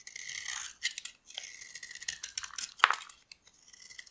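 A small metal blade scrapes and shaves brittle flakes from a solid, dry, oval purple bar of soap held in the palm. The result is a series of crisp, bright, dry scraping strokes with short pauses between them, and one sharper, louder snap near the end.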